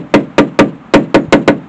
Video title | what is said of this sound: Black édition : restauration des bas caisses partie 1 | ça sonne mieux ici, donc faut toujours reprendre des parties saines